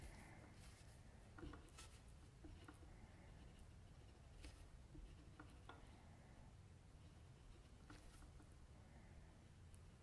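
A metal mechanical pencil tip scratches small strokes around the mouth of a sketched face on a flat sheet of white drawing paper lying on a table. Soft, brief scratches with a bright, papery edge come in scattered bursts over a quiet, low background hum.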